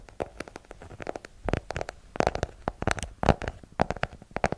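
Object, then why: Hardcover paper book. Long nails tap the cover and page edges of a solid yellow hardcover paper book held behind the microphone. The result is a rapid, irregular run of short, dull clicks and soft thumps with a low body and very little brightness, each tap dying away almost instantly.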